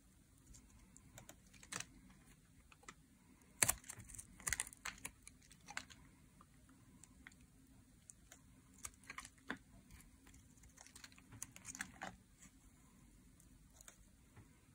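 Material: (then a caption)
Soap. A thin metal blade scrapes across a rectangular solid bar of dry green soap held in hands, peeling off curled shavings beside a pile of shavings. Quiet, dry, bright scratches and crisp clicks come in irregular bursts, with a few louder strokes over a faint low hum. Each one stops short with no ring.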